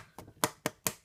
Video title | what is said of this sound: Han Solo & Tauntaun; 6" Black Series | it's pretty light on. Hollow plastic.